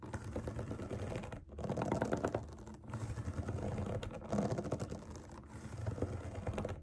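Long nails tap and scratch across the hollow bubbles of a large round rainbow silicone pop it resting on a table. The result is a dense, steady stream of soft, muffled clicks and rubbing scratches, mostly low and dull, with brief pauses between bursts.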